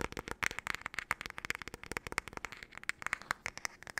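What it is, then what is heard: Wooden hairbrush. Long nails tap and scratch the solid wood back and handle of a wooden paddle hairbrush in a rapid, irregular flurry. The sharp, dry clicks carry a bright tone around 2 kHz with almost no ring.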